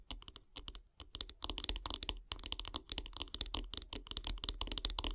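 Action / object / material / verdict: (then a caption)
tap / wooden bath brush handle / wood / none. Long grey nails tap rapidly and scratch along a solid light-wood bath brush handle resting on log slices. The result is a dense run of crisp, bright, clicky taps with very short, dry decay, mixed with scratchy rustling and a faint low rumble underneath.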